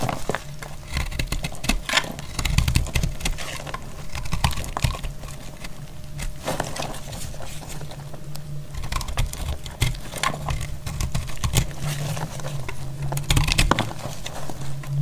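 A solid, dry green-yellow soap bar is held in the hand while a utility blade shaves slices off along its length. The blade makes repeated short, crisp scraping cuts over a steady low rumble, with dense bright clicks of the blade through the soap.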